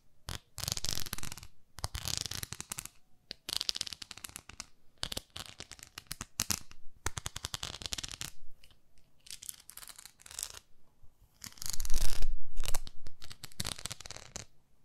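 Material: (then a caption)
Plastic. Long nails scratch the surface of a small pink plastic facial cleansing brush, the cleansing pad, producing bursts of dense, bright, crackly scratching separated by short pauses. The scratching comes in rapid, fairly uneven strokes, with the loudest and fullest burst near the end.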